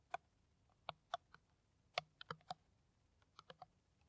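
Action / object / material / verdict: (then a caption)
tap / plastic PET water bottle tapped with fingernails / plastic / none. Long nails tap an empty, clear, ridged plastic PET water bottle held in the hand, making about ten short, dry, clicky taps in loose clusters. Each tap has a hollow plastic tone around 700 Hz with a bright top and dies away almost instantly.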